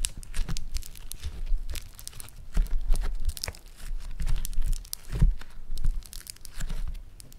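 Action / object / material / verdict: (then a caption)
scrape / foam-bead clay lump / foam beads / none. A lump of green floam foam-bead clay is squeezed and torn between the fingers of both hands. A dense, continuous crackling and crinkling of tiny pops rises and falls in waves, over soft low squishing thumps.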